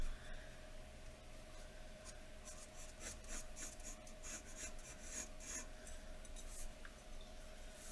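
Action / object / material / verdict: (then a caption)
scrape / graphite pencil on a paper drawing sheet over a wooden table / paper / none. A graphite pencil held in a metal extender scratches across a thin, solid sheet of white drawing paper lying flat on a wooden table while shading hair. Soft, repeated bright rasping strokes sit over a steady low hum, with the scratching growing denser in the middle of the clip.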